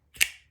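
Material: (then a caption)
Metal. A custom metal folding knife with a deep bull-mill groove is flicked open with the thumb. It gives a single short, sharp, bright snap with a quick decay as the blade locks. The deployment has a good, solid lockup.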